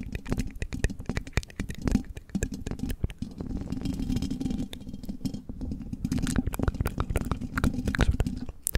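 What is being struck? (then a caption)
Metal mesh microphone grille. Long red-tipped fake nails tap and scratch the hollow metal mesh grille of a silver condenser microphone. Rapid, sharp clicking taps ride over a dense, boomy low rumble from the scratching, with brief bright ticks on some hits.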